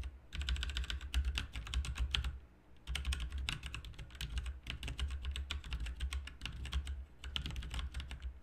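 Both hands type with the fingertips on a backlit RGB mechanical keyboard with plastic keycaps, producing rapid, bright, clacky keystrokes in continuous bursts. Two brief pauses break the typing, and a steady low hum sits underneath throughout.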